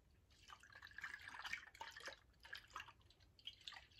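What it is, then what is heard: Glass bottle partly filled with liquid. A tall VOSS glass bottle partly filled with liquid is tilted and shaken sideways while fingernails touch the glass. The liquid sloshes inside with quiet, bright, drip-like plinks and gurgles that rise and fall in short bursts.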